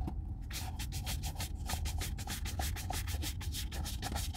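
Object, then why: Leather boot brushed with a horsehair brush. A hollow brown leather Red Wing Weekender chukka boot, held in one hand, is brushed vigorously with a wooden-backed horsehair brush. Quick back-and-forth strokes make a steady, bright, scratchy rustle over a low, dull rumble.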